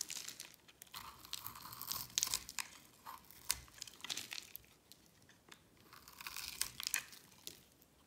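A metal blade scrapes and carves a solid, palm-sized oval bar of dry green soap held in the hand, raising cubes and curls of soap. The result is a steady run of crisp, bright, crunchy scrapes and crackles with almost no low end, each one cutting off dry and short in a close, quiet space.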